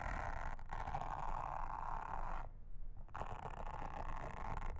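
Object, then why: Silicone honeycomb trivet mat. A pink mascara spoolie brush, held in a hand with long red nails, brushes and scratches across a round, flat, solid blue silicone trivet mat with a honeycomb texture lying on a table. The result is a steady, soft, bristly scraping hiss centered in the mids, broken by two brief pauses, with a dense low rumble underneath.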